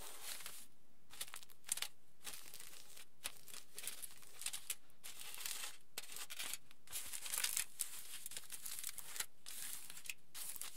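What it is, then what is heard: Aluminium foil sheet. Fingertips and palms rub and scratch a large, flattened aluminium foil sheet lying flat. The result is quiet, bright, crinkling bursts of hissy noise, broken by short silent gaps between strokes.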